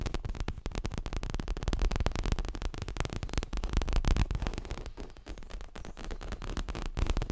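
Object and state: Leather cushion.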